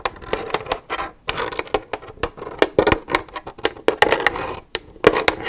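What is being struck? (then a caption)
Plastic milk jug. Long red nails tap the side of an empty, hollow white plastic milk jug with a green cap. Quick, irregular clicky taps come in bursts and pauses, each with a hollow, mid-pitched knock around 430 Hz and a bright edge. Each tap dies away almost at once, with little low end.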